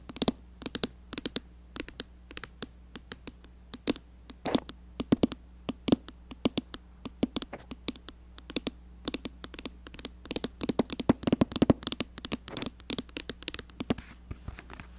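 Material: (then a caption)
Glass. Long dark nails tap quickly across the glass of a rectangular mirror inside a red makeup palette lid, typing out keyboard-like patterns. About 76 sharp, dry clicks with almost no ring sound in fast bursts over a steady low hum.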